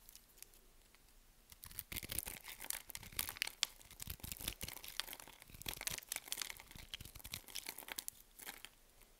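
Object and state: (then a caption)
Bar of soap being cut into cubes. A solid white soap bar held in the palm is cut into small cubes with a metal blade. After a quiet second and a half, dense crisp crunching and scraping follows as the cubes crumble off, then it fades out near the end.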